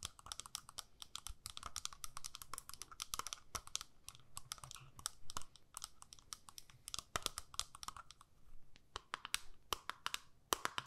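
Long nails tap and scratch the clear lid of a small, square, hollow plastic eyeshadow palette. Rapid, dry, clicky taps and brief scratches come in quick, irregular bursts, each dying almost instantly. The result is bright plastic clatter with a hollow ring around 1.2 kHz.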